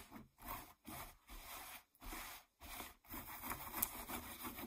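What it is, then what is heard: Denim jeans being scratched. Long nails scratch the waistband and frayed fabric of a pair of distressed blue denim jeans lying flat. Rough, bright, rasping strokes come in short bursts separated by brief silences, then settle into a longer, continuous stretch of dry scratching at the end.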